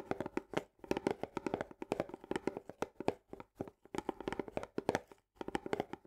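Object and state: Paperboard canister with plastic lid.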